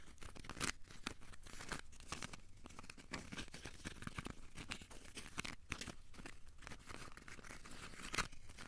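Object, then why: Aluminium foil ball. A small, solid, crumpled ball of aluminium foil is held in both hands and squeezed and scratched with the fingertips. The result is a quiet, continuous stream of dry crinkling and crackling, with sharp bright clicks and no ring after each one.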